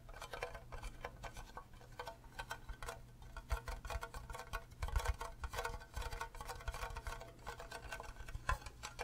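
A fingernail taps rapidly on the faces and bottom of an empty, green, cube-shaped hollow plastic Minecraft creeper mug. The taps come as quick, light, hollow clicks that die away almost instantly, over a steady low hum.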